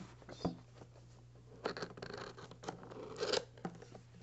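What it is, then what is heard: Cardboard box tapped and scratched. Fingertips and nails tap and scratch the top and side panels of a hollow, printed cardboard microphone retail box resting on plaid fabric. Short, dry, hollow taps stand out between stretches of soft scratching and rustling. A faint low steady hum runs underneath throughout.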